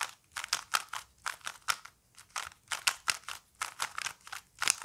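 Fingertips repeatedly turn the layers of a small plastic Rubik's cube with colored stickers, held close. Quick, irregular bursts of bright plastic clicking and scraping come one after another, each dying away almost instantly, with no low rumble beneath them.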